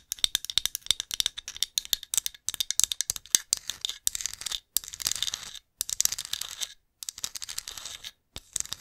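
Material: Glazed ceramic.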